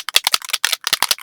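A metal can of white spray paint, its contents separated from disuse, is shaken so the mixing ball inside rattles. A quick series of sharp, bright clacks is heard, showing the ball is moving freely inside the can.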